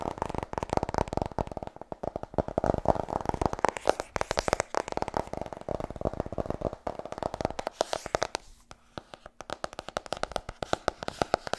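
Fast fingertip tapping on the hardcover book "Vertrouw me, ik ben een verkoper" gives a dense stream of short, dry taps with a hollow midrange tone. The taps come in rapid bursts with brief pauses, and no voice is heard.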